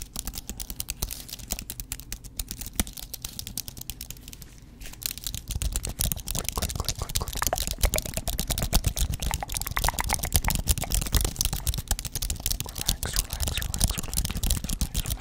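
Fingertips type rapidly on the plastic keys of a thin white wireless aluminum and plastic computer keyboard, held first vertically and then flat close in front of a microphone. A dense stream of short, crisp key clicks with a deep, thumpy low end runs throughout. The clicking is softer for the first few seconds, then grows louder and fuller once the keyboard is laid flat.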